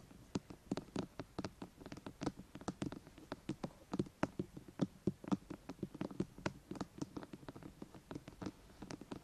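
Long painted nails and fingertips tap and scratch the flat top of a hollow, rectangular white plastic binaural microphone housing, an ear-to-ear SR3D unit with silicone ears on both ends. The result is a quick, irregular run of dry, short clicks with a hollow low body and brief high ticks, over soft scratching between them. The clicks die away almost instantly.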